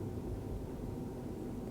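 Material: Nothing is struck.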